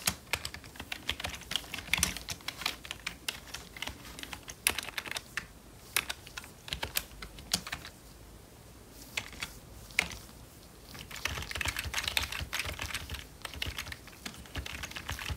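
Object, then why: Plastic membrane computer keyboard. Gloved fingertips type on a full-size, hollow black plastic membrane computer keyboard, pressing keys including the space bar and arrow keys. Dull, bright-edged clicks come in quick, uneven flurries with short gaps, and each tap dies away almost instantly. A quieter stretch around the middle gives way to a denser run of typing near the end.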